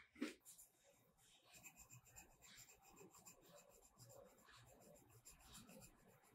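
A purple metallic colored pencil is rubbed back and forth across a page of a spiral-bound paper mandala coloring book lying flat on a black surface, with the other hand resting on the page. A brief, louder scratch at the start gives way to a steady, soft, dry scratching with bright, papery rasping.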